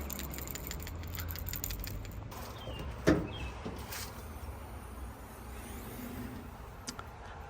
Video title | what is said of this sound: Toyota V8 PCV Valve Replacement - LX570, Tundra, Land Cruiser Sequoia Poor MPG Smoke at startup | I'm going to shake it and you can hear the ball move inside